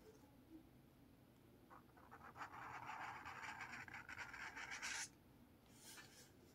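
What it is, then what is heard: Felt marker drawing on a paper notepad. A blue felt marker scratches and draws lines across a lined paper page of a spiral notepad. After a quiet start, a rough, papery scratching rises around the midrange with a bright hiss on top, runs steadily for about three seconds, and stops abruptly. One brief faint stroke follows near the end.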